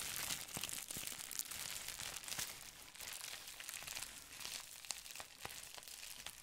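A folded sheet of clear plastic bubble wrap is crinkled and scratched with fingertips, giving a steady, bright, papery crackle. Sharp little clicks and snaps pop out of the hiss throughout, with almost no low end.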